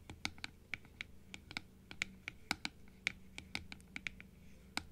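Long acrylic nails tap and scratch on a hollow blue plastic dental teeth model, held half-open and then open, striking both the plastic and the teeth. About twenty sharp, bright clicks sound with no ring, set over a faint, steady scratching rustle.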